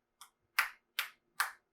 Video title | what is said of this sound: Multiverse 2020: Kitchen Witch: Con Suite Tamales | a well-wrapped tamale looks just about like that it's nice and tight you can hear it when you thump it